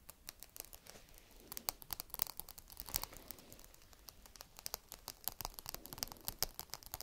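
A single small whole walnut in its hard woody shell is scratched and tapped with long red nails. The result is quiet, dense, bright clicks and scratchy crackles with sharp, dry transients and almost no ring.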